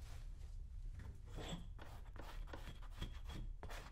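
A small hand tool scrapes across a brown leather cowboy boot with streaks of cream. The scraping comes as repeated dry, raspy strokes over a steady low rumble, with brief brighter bursts on each pass, and stays quiet throughout.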